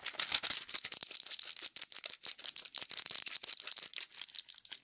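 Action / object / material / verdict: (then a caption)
tap / plastic and foil blister pack with pills / plastic / none. A small flat blister pack of clear plastic blisters on a foil backing, filled with white pills, is held in the hand and tapped and scratched with fingertips and nails. Fast, dense, bright crinkling clicks and taps come in quick bursts as the pills rattle inside. The sound is crisp and dry, with almost no low end and each click dying away almost at once.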